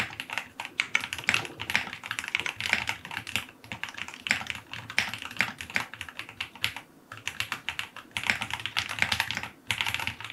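Fingertips type continuously on a white full-aluminum QK75 75% mechanical keyboard with white and dark green plastic keycaps, a brass knob, an FR4 plate and lubed linear switches, its solid case resting on a desk. Rapid, bright clacky keystrokes with short decay run in dense bursts, with brief pauses around the seventh and tenth seconds.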